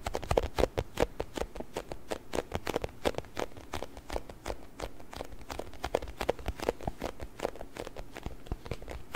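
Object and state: Plastic container filled with water beads.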